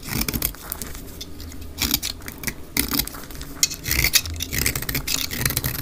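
A utility knife blade shaves flakes off a solid, hand-sized cream bar of dry soap held in one hand, played at double speed. Quick, dry scraping and crisp cutting strokes follow one another steadily, with bright, gritty texture and short ticks as the flakes come away.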